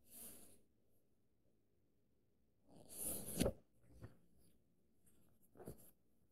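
A fingertip and nail trace lines along the thin printed paper pages of an open paperback book held flat. Faint, airy brushing strokes come in separate bursts, with the longest and loudest rasp around the middle, followed by a few lighter scratches and quiet pauses in between.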